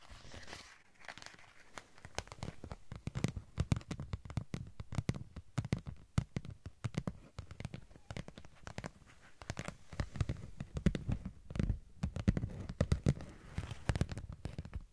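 A thin, flexible holographic textured vinyl sheet is held in both hands and scratched with long nails. It makes dense, rapid crackling scratches and crinkles, many sharp ticks in quick succession over a low, soft rustle. The nail strokes come in bursts, with a louder cluster near the end.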